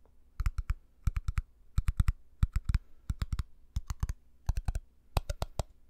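Fingertips and nails tap rapidly on a small empty glass jar with a black lid, striking both the glass and the lid. The taps come in quick, evenly spaced bursts of three or four, each one a short, dry click with a low thump and a bright tick that stops almost instantly.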